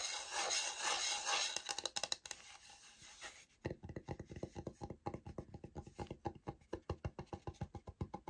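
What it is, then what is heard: Laminate floor sample scratched with nails. Long nails rub and scratch along the surface of a light oak-grain laminate flooring sample, a solid board held upright, producing a dense, bright rasping for about three seconds. Then a quick run of crisp, dry taps follows at a steady pace, each one short with almost no ring.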